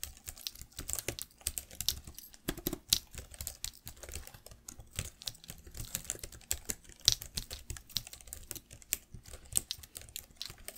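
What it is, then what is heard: Plastic laptop keyboard being typed on. Fingertips and long nails type continuously on the plastic keys of a black laptop keyboard. The result is a rapid, uneven stream of sharp, bright clicks and taps that stop almost instantly, with little low-end body.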